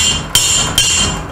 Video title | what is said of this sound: 1983 BMW R80ST Replace Swing Arm Bearings | you hear that solid sound and there it is